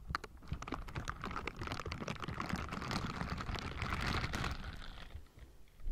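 Pink silicone bristle gloves rub and scratch across the hollow metal mesh grille of a Blue Yeti microphone, making a dense, continuous run of crackling scratches and ticks over a heavy low rumble. The scratching stays busy and fairly steady, dips quieter near the end, then swells again in the last moment.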